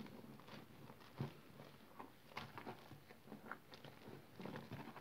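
Hands push into a blue basin filled with smooth, wet, soggy green soap paste, then pull and squeeze up a mass of the mushy soap. Soft, low, wet squelches and squishes come in short bursts with brief clicky smacks, fading quickly at a quiet level.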